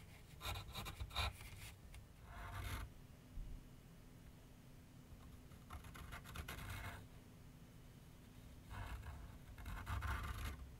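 A graphite pencil held in the hand scrapes and shades lines on a medium white canvas/paper board resting on a wooden easel. Quick, dry scratching strokes come in three bursts, with quiet pauses between them. A low rumble sits underneath throughout.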